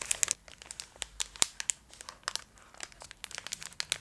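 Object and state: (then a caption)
Foil candy wrapper crinkled. Long acrylic nails scratch and crinkle a full Twix bar in its gold metallic foil wrapper, held up close. The result is a quick run of sharp, bright crinkles and scratches with almost no low end, each snapping off instantly between quieter rustles.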